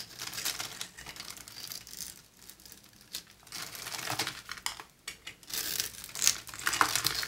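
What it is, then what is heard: Bar soap scraped with a knife. A utility knife blade scrapes and carves flakes off the surface of a solid, palm-sized, pink oval bar of dry soap held in the hand. The sound is a series of dry, crinkly, bright scraping bursts with short pauses between them, mostly high-pitched hiss with almost no low end. The strokes come at an uneven pace, and the loudest ones fall near the end.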